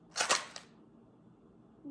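A heavy blue plastic Easter egg filled with coins (quarters, pennies and dimes) is shaken. It gives three bright, loud metallic rattles in quick succession, followed by quiet.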